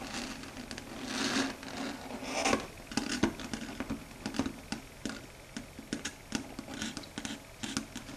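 Long red stiletto nails tap and patter on a flat, dark grey matte chalkboard, a solid board. The sound is a quiet, irregular run of short, dry, bright clicks with very little ring, mixed with soft scratchy brushes over the surface and a faint low tone around 270 Hz underneath.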